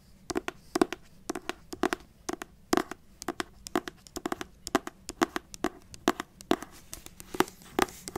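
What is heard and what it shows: A solid pale green hardcover book with a matte paper cover is scratched and rubbed with long acrylic nails. Dense, quick clusters of short dry scratches and taps come in bursts, making a crinkly paper sound with a bright edge over a quiet background.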